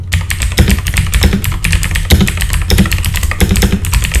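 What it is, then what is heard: Mechanical keyboard with plastic keycaps. Fast two-handed fingertip typing on a full-size backlit mechanical computer keyboard with plastic keycaps. The result is a steady, dense stream of short clicky key strikes, each with a bright click over a deep thock from the keys bottoming out.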